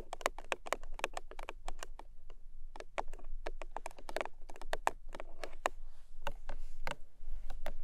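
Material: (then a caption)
Cardboard. Long nails tap quickly on the top and front of a small, long, rectangular printed cardboard box, pink with gold stars, lying closed on a fluffy blanket. The result is a rapid run of short, dry, crisp clicks with almost no ring.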